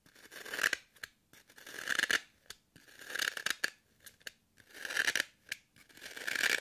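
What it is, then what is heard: Floral foam block. Long curved nails puncture and scratch a solid, hand-held green floral foam brick with a pocked surface. Crisp, crackly scratching strokes swell and fade in repeated waves, each centered around 1.6 kHz with a bright, airy top. Short, sharp clicks from nail punctures break up the strokes.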